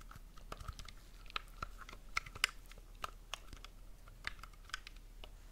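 Fingertips and short nails tap and scratch the shell and grips of a hand-sized, hollow black plastic gamepad, a Switch Pro-style controller held in both hands close to the mic. About fourteen quick, dry, clicky taps land at an irregular pace, with sharp bright ticks over a soft scratchy hiss.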